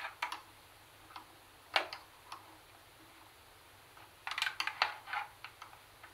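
Long nails tap and click on the top buttons and the plastic body above the speaker grille of a black, hollow plastic CD cassette boombox. Short, bright, dry clicks come scattered at first, then bunch into a quicker run of sharper taps near the end, each dying away almost at once with no low end.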